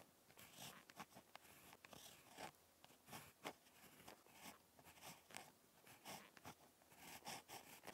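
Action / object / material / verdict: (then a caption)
scrape / ballpoint pen on lined notebook paper / paper / none. A ballpoint pen tip scratches across lined spiral notebook paper during handwriting, producing quiet, dry scratching strokes with bright, hissy edges. Short bursts of stroke noise come and go irregularly with soft pauses between them.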